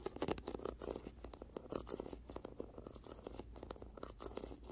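Dozens of fast, papery ticks and short scratches, thin and dry, with a low hum underneath and a small-room feel. Each one dies at once because the coated paper over the book block damps everything. It is a nail tapping and scraping across a paperback cover.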